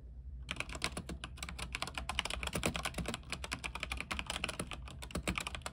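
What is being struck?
Mechanical keyboard with plastic keycaps on an aluminium frame.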